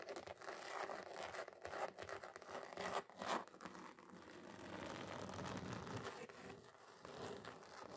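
Long acrylic nails scratch and tap fast across a thin, solid, flat red glitter-covered card sheet. The result is a dense, gritty stream of rapid scratches and light taps with a crinkly, rustling texture, centered in the midrange. A few louder, sharper scrapes stand out near the third second.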